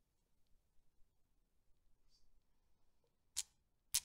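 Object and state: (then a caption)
Steel Newton's cradle balls knocking. A Newton's cradle with solid steel balls is set swinging by a long-nailed finger, and the balls knock together. Two sharp, bright metallic clicks ring out near the end, with almost no ring after each, over a very quiet background with faint ticks.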